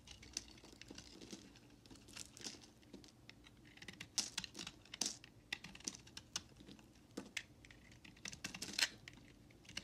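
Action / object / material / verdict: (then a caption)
scrape / bar of soap scraped with a knife blade / soap / none. A utility knife blade scrapes and carves shavings off the edges of a solid white bar of soap held in the hand. Quiet, dry, crisp scraping sounds with sharp, bright clicks and crackles come in irregular bursts over a soft hiss, each one cutting off almost instantly.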